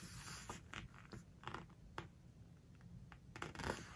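Fingers lift, squeeze and turn a glossy page of a large open hardcover book while nails rub the paper. Quiet crinkles, soft rubbing and short crisp paper ticks sit over a low background rumble.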